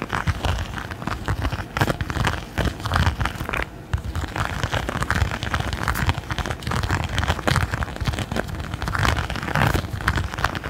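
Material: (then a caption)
Silicone. A thin, flexible, red textured silicone pot holder held close to the microphone is scratched repeatedly with fingernails and fingertips. The result is a dense, continuous stream of rough, crackling scratches with a heavy low rumble and bright, gritty edges. There is a brief quieter dip partway through.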